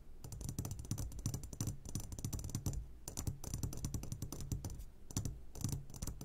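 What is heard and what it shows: Fingertips tap rapidly on the sides of an upside-down clear glass jar full of hard candies. The result is a dense, continuous run of quick, bright ticking clicks over a soft low thudding, with each tap dying away almost at once.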